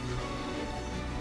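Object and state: Nothing is struck.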